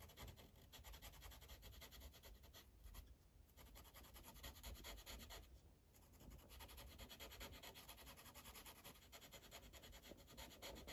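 The felt tip of a blue Sharpie marker is rubbed back and forth across a thin paper coloring page on a clipboard in steady coloring strokes. A continuous, fast, scratchy rubbing fills the clip over a low rumble, easing briefly around 3 and 6 seconds before resuming.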